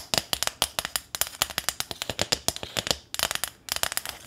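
A small thin corrugated sheet-metal welcome sign with a ribbon bow on top is tapped with long nails close to the microphone. Quick, bright metallic ticks and clicks come in rapid bursts, each dying away almost instantly, with short pauses between the clusters.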